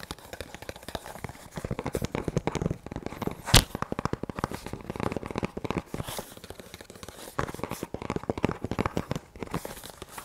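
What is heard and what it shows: An empty black leather double magazine pouch, a small double-compartment duty pouch held up in both hands, is tapped and scratched on its leather flaps by fingertips and nails. Dense, rapid, dry taps and crinkly scratches run throughout, with one sharper louder tap near the middle.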